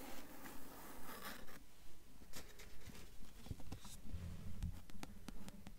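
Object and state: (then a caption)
Cloth-bound hardcover book cover. Long acrylic nails tap and scratch the blue cloth-covered board and endpaper inside the front cover of an open hardcover book lying on a table. Quiet, dry scratching strokes give way to soft, dull taps and sharp little clicks, about ten in a steady rhythm, each dying away almost at once.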